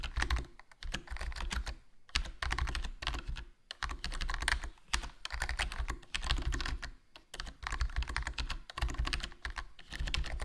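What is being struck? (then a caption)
Plastic membrane keyboard. Fingertips type continuously on a HyperX Alloy Core RGB plastic membrane gaming keyboard with a foam mod, a hollow case, a black plastic body and black plastic keycaps. Quick, dense keystrokes come in bursts with short pauses. Each key gives a soft, low thock and a brief clicky top.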